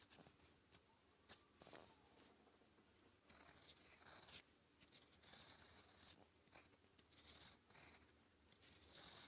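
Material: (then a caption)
Paper. A gold-toned fountain pen nib scratches across a thin sheet of red-grid manuscript paper lying flat, writing Korean letters in purple ink. The quiet, bright, dry scratching comes in short irregular strokes and pauses, with a few sharper ticks as the nib lifts and lands.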